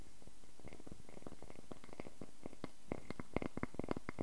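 A solid round wooden log slice is held in the hands while fingernails scratch along its bark edge and across its ring face. The result is a quiet, rapid series of dry rasping scrapes and clicks over a soft, low background, growing a little sharper and more distinct toward the end.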